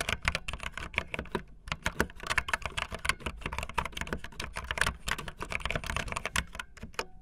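Fingertips with long nails type fast on a backlit optical linear mechanical keyboard with white and blue plastic keycaps. A dense, rapid stream of short, crisp keystrokes mixes a bright plastic clatter with a low thud under each press. Each stroke dies out almost instantly.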